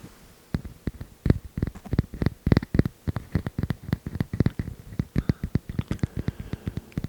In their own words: That's a nice tapping sound. Tapping wood is always pretty good.